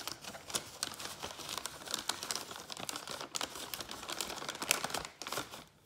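Fingertips rapidly tap, scratch and crinkle the surface of an empty, hollow, thin-walled brown kraft paper bag held in both hands, then lift it. The sound is a quick run of dry, bright, papery ticks and rustles with almost no low end, each one dying away at once, before it falls quiet at the end.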